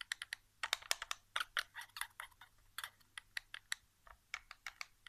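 Fingertips rapidly tap and drum on the back casing of a white plastic PS4 controller lying face down on carpet, its hollow shell answering each touch. The result is a quiet, uneven series of short, dry, bright clicks and taps that stop instantly with no ring, with clustered bursts and brief pauses between them.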